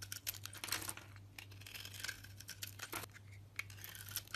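A knife shaves thin flakes from a solid, rounded bar of soap with a green striped coating and a pale yellow core, held in the hand. Crisp, bright scraping and crackling comes in quick bursts of ticks throughout, over a steady low hum.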